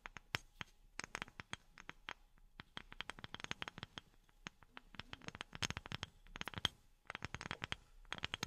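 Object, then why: Wooden object tapped with silicone rubber fingertip pads. A wooden object is tapped with silicone rubber pads worn on the fingertips. Many quick, dry taps land in irregular bursts, each a bright click with almost no ring and a soft low thump beneath. The tapping runs steadily throughout, with brief pauses between clusters.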